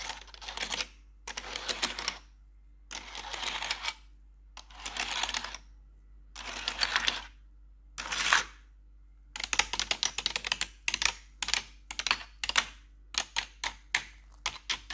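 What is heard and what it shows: A black plastic RGB computer keyboard is tapped and scratched on its keycaps with metal claw nails, producing bright, clicky plastic clatter. Six bursts of rapid tapping separated by short silences give way to a denser run of quick, sharp individual taps, with a faint steady hum underneath throughout.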